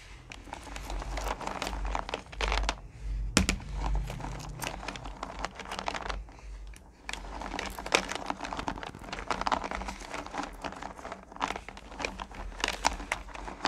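Hands with long painted nails press into and run through a purple plastic pail full of small, solid, sugary pumpkin-shaped candy corn pieces. The result is a dense, crinkly rustle of many quick, bright clicks and shifting pieces, rising and falling in waves with brief pauses, over a steady low hum.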